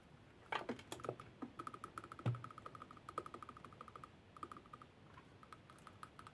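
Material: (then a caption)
Lacquered wood. A small Khokhloma-painted lacquered wooden spoon, its solid bowl held in the palm of a hand wearing a pearl bracelet, is tapped and scratched with the fingernails of the other hand. Dozens of quick, light, dry clicks sound in an irregular, keyboard-like patter, with a faint steady ringing tone and one heavier low knock partway through. The clicks die away almost instantly.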